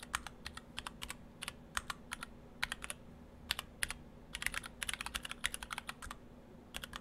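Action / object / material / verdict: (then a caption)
tap / mechanical keyboard with plastic keycaps / plastic / none. A split ortholinear mechanical keyboard in two halves with clear acrylic cases, white and cyan PBT dye-sub plastic keycaps and stock Gateron Brown switches is typed on with the fingertips of both hands. Short, bright clacking keystrokes come in uneven bursts over a low steady hum, each one dying away almost at once.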